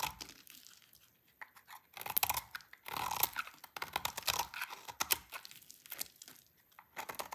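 A utility knife blade carves a hand-sized solid magenta bar of dry soap held in the hands, scraping off brittle curls. Dry, bright crunching and scraping comes in irregular bursts, with the loudest stretch in the middle and quieter gaps between strokes.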